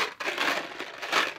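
A cardboard box of Mike and Ike chewy fruit candies is shaken, and the candies rattle and jingle inside it. Three bursts of dry, papery rattling are heard in a quick series, bright with little low end.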